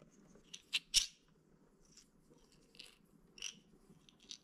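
Small clear plastic toothpick holder with a white bear-shaped lid, full of wooden toothpicks, held in both hands and tapped and handled with the fingers. Sharp, bright plastic clicks and taps stand out over a faint low background hum, with the loudest cluster near the start and lighter ones spaced out after. Each hit is dry and dies away almost instantly.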